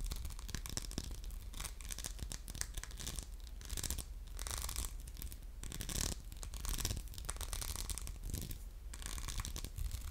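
Short nails scratch the grid-textured surface of an orange glass soap dispenser with a metal pump, held in a hand. The result is a steady run of dense, crackly scratching in rapid bursts, over a constant low hum.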